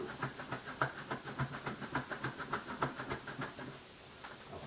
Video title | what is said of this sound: Apple Pie & Banana Bread | I can hear that stuff going back and forth, hitting the outside walls of the bowl